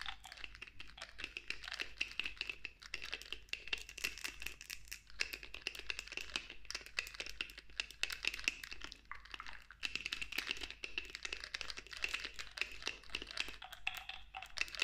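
Long nails tap quickly on the black pump top of a clear glass cosmetic pump bottle partly filled with clear liquid. The result is a dense, fast stream of bright, short clicks over a steady ringing tone near 2.7 kHz, with little low end.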